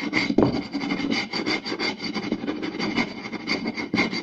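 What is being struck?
Round wooden plate.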